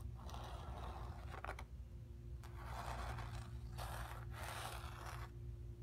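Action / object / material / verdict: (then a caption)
scrape / stretched painted cotton canvas / cotton canvas / none. Long pink nails scratch across the painted surface of a stretched cotton canvas with a hollow back. Soft, airy scraping bursts come and go over a steady low hum.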